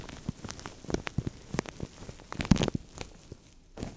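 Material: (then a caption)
Plastic. Fingertips squish and crinkle a thin, translucent plastic bag that is pulled over the microphone, hollow and empty. A steady run of short, dry crackles and soft muffled squishes comes through, mostly low and close, with a louder burst of crinkling about halfway through before it quiets and picks up again at the end.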